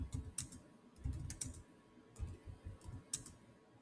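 Fingertips type at a slow pace on the solid keys of a black plastic chiclet keyboard on a silver Samsung laptop. About nine separate keystrokes land as soft, low thuds topped with short, bright clicks. Each one dies away quickly.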